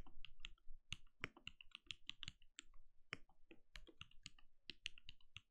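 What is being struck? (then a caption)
Mechanical keyboard with plastic keycaps. A compact RGB-lit mechanical keyboard with a translucent plastic case and plastic keycaps sits on a desk and is typed on steadily with the bare fingertips of both hands. Quick, irregular keystrokes each give a short low thud with a bright clicky top, dying away almost instantly. The result is a brisk, continuous patter of typing.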